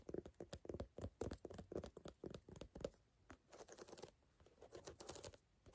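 Long nails tap and scratch across the solid ridges of a brown ridged rubber sneaker outsole, heard up close. Quick, uneven taps with short bright clicks and a mid-range body come first, followed by softer, hissy scraping strokes.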